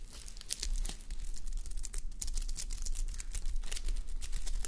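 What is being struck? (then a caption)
Plastic sequins on fabric. Fingertips and long nails scratch and rub the plastic flip sequins of a fabric sleep mask on a mannequin head. A steady stream of bright, crinkly scratches and clicks plays over a faint low hum, forming a continuous rustling texture.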